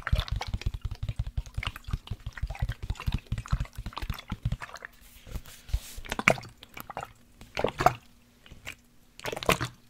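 A black plastic sports water bottle with a blue cap, holding liquid, is tilted, tapped and gently shaken by hand. Quick, dull, close taps come in a dense run for the first few seconds. Then liquid sloshes and gurgles inside in three short bursts, over a faint low steady hum.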